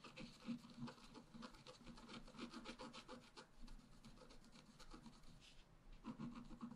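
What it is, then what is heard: Scratch-art paper being scratched. A wooden stylus point is scratched across the black coating of a flat A4-size scratch-art sheet, with a rainbow layer underneath, lying on a table while the other hand holds the sheet. Quiet, dry, raspy scraping strokes follow each other in a fast, uneven rhythm, each one short with no ring.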